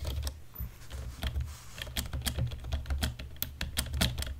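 Fingertips and nails of both hands type fast on a black plastic computer keyboard. Rapid, crisp key clicks with bright tops sit over a steady low thump, each stroke dying away almost instantly.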